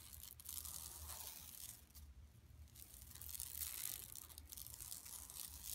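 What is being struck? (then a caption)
Woven plastic mesh bag. Long nails scratch and rub across the mesh of a large, flat, empty yellow woven plastic mesh tote bag lying on carpet. The result is a steady, bright, raspy scratching and crinkling that dips quieter for a moment midway before building back up, over a faint low hum.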